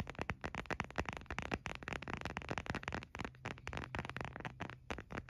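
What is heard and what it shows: Fingernails tap rapidly and irregularly on the back of an empty, hollow, white printed hard plastic phone case held in one hand. The result is a dense run of short, dry, clicky taps with no ring, over a faint low steady hum.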